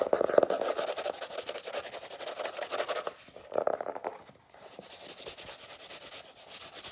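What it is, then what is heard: Hardcover notebook cover rubbed and scratched. An illustrated paper-covered hardcover notebook, solid, has its cover rubbed and scratched with fingertips and nails, giving a dry, sanding-like rubbing sound. Fast, dense strokes with bright hiss are loudest in the first three seconds, dip briefly, then return in a short burst. The scratching continues more softly to the end.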